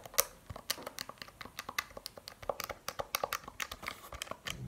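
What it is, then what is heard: Plastic calculator tapped with fingernails. A handheld plastic Casio scientific calculator with rubbery keys is tapped on its keys and body with long painted nails. The result is a rapid series of short, dry clicks with bright, crisp tops and very little low end. Each tap dies away almost instantly.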